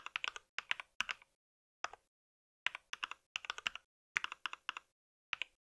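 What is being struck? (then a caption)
Mechanical keyboard with plastic keycaps. Fingertips of both hands type on a compact white mechanical keyboard with plastic keycaps and a solid body. Quick bursts of bright, crisp key clicks with almost no ring are separated by short pauses.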